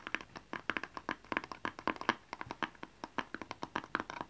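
A small, hollow, blue and white rectangular cardboard gift box with a barcode label is held in both hands and tapped with fingernails and fingertips. About thirty quick, dry, hollow taps and clicks come in an uneven rhythm, each centered around 1 kHz with bright edges and almost no ring.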